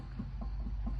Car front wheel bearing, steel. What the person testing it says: as you can hear and maybe see, there's play on that side